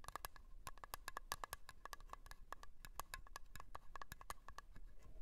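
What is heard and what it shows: A small round blue metal Nivea cream tin, lid on and standing on a fur rug, is tapped and scratched with long polished nails. A quick, uneven run of short, dry clicks rings at a light metallic pitch around 1.1 kHz with bright tops. Faint scratching fills the gaps beneath them, and each tap dies away almost at once.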